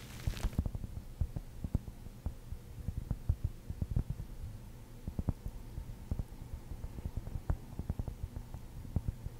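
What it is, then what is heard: Cork ball. A large, rounded cork ball held close to the microphone is scratched and tapped with long nails and fingertips. Dull, muffled low taps land irregularly over a soft scratching texture and a steady low hum, after a brief brighter rustle at the start.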